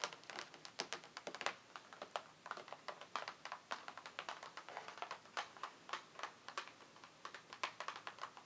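A closed, hollow printed cardboard nail polish advent calendar box, about 30 cm wide and lying flat on a wooden table, is tapped with long painted nails of both hands. Quick, dry, bright clicks fall in rapid, uneven bursts over about eight seconds, each dying away almost at once. The sound is light, papery, and hollow, with no low end.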